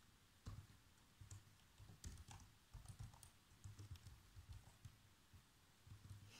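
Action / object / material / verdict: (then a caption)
tap / plastic laptop keyboard / plastic / none. Fingertips with short nails type fast across the keys of a black plastic chiclet laptop keyboard. The result is a quiet, uneven run of soft, dull taps with a low thud, topped by occasional bright clicks that die away almost instantly.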